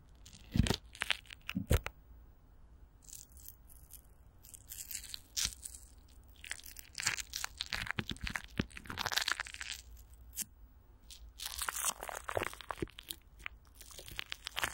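Fingertips and long nails scratch and tap clear plastic film stretched over a hollow microphone grille, with Vaseline. The result is a quiet run of crinkly, crackling scratches and bright hissy rustles, broken by soft low thumps from the taps and a few louder pops near the start.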